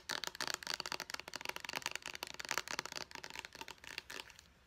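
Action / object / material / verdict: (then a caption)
tap / small plastic pump bottle / plastic / none. Long nails tap rapidly on a small white plastic pump bottle, striking both its body and its purple pump cap. The result is a fast run of sharp, bright plastic clicks that stop quickly with almost no ring. The tapping carries on steadily and then fades out near the end.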